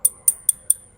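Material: Aluminium.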